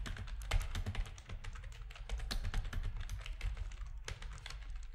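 Fingertips of both hands type on a full-size black plastic RGB-backlit keyboard with a hollow plastic housing, resting on a desk. It produces a rapid, steady stream of short, bright, clacky keystrokes with quick decay over a constant low rumble.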